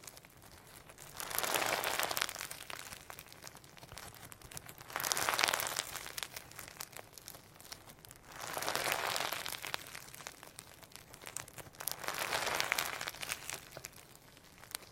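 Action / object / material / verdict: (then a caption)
scrape / firm slime with mini sequins / slime / none. A firm, solid lump of sequin hologram slime is squeezed with the thumbs, pinched and stretched in the hands, giving four swelling bursts of dense, bright crackling and crinkling. Quiet gaps separate the bursts.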